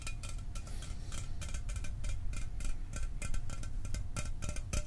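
A standard aluminum Mountain Dew can, apparently unopened and full, is held in the hand and tapped rapidly with the fingertips. Quick, dry, bright ticks with almost no ring sit over a steady low rumble.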